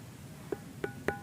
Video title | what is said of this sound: Misteri Gunung Padang, ada apakah di sana? | disebut batu gamelan karena ada bunyinya. Tuh, ada 4 nada ini